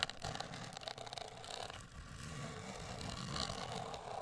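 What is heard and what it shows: Long acrylic nails scratch and tap on a closed, hollow, medium-size black printed rigid cardboard cosmetic box. The result is a steady, papery scraping texture with bright edges and a low rumble underneath, without clearly separate taps.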